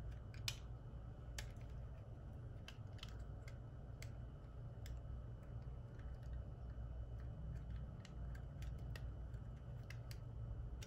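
A solid white oval soap bar is held in the palm and carved with the metal blade of a red-handled utility knife. The cutting and scraping give short, sharp, bright clicks and scrapes over a steady low rumble.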